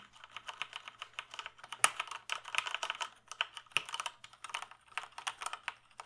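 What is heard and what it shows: Fingertips type steadily on the mechanical keys of a full-size black plastic gaming keyboard with a hollow case, held up in the air. The result is a fast, uneven run of short, bright, clacky key clicks, with a few sharper, louder strikes standing out. Each click stops almost instantly, and there is no low-end thump beneath them.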